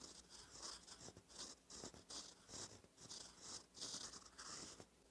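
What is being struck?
Metal pen nib on lined paper.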